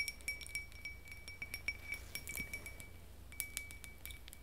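A small, empty, hollow, clear iridescent glass votive candle holder, held in the hand, is tapped and clinked with long acrylic nails. The result is a quick series of light, bright glassy clinks with a steady high ring near 2.3 kHz. Each clink dies away almost at once over a faint low hum.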